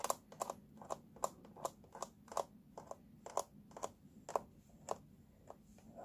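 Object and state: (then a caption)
Plastic baby walker base. Fingertips and nails tap and scratch across the hollow, teal molded plastic base of a baby walker and over its paper warning label. About sixteen short, dry, hollow taps sound in an uneven rhythm, each dying almost instantly. A soft scratchy rustle fills the gaps, all at a quiet level.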